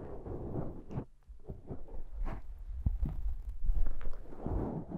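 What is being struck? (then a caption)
Foam microphone windscreen. Long dark painted nails and the fingertips of both hands scratch and rub the surface of a soft, porous, fist-sized black foam windscreen on a handheld Zoom recorder. The result is a close, muffled low rumble of brushing and scraping, broken by soft dull thumps, with almost no high or bright content.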